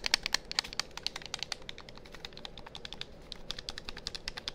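A hollow, hand-sized black plastic gamepad is held in front of a binaural mic while thumbs and fingers rapidly press and click its buttons. The result is a fast, irregular stream of short, dry, bright plastic clicks with almost no ring and little low end over a faint steady hiss.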